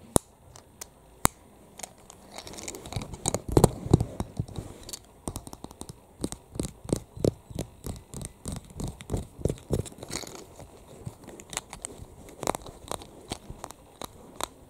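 Long fingernails tap and scratch the surface and edges of a flat, solid yellow plastic keychain tag with a metal ring, held in the hands. Rapid, irregular dry clicks and short taps run throughout, with a denser stretch of scratching early on. Each tap dies away almost instantly, leaving no ring.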